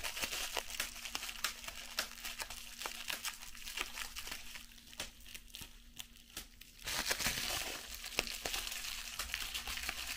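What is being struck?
Plastic bubble wrap.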